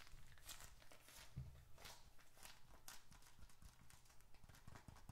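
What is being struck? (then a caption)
Leather bifold wallet with paper inside. Fingertips tap quickly on both faces of a small, closed, reddish-brown leather bifold wallet held upright in both hands close to the mic, with paper bills and receipts inside. A steady stream of soft, quick taps is heard, each a dull low thump with a short, bright, papery click that dies away almost at once.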